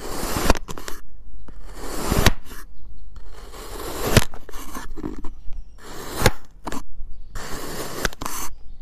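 A white ceramic knife fitted with a clip-on mic repeatedly slices through a small, solid molded block of purple and yellow kinetic sand resting on a plate. Each cut makes a gritty, hissing scrape, with sharp clicks where the blade meets the plate, separated by brief pauses.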